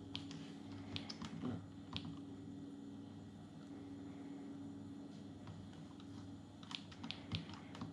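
Fingertips of both hands type fast on the plastic keys of an open Atari Portfolio, a small dark grey plastic palmtop computer with a hollow plastic body. Quiet, bright clicks patter irregularly, with a few sharper taps standing out over a steady low hum.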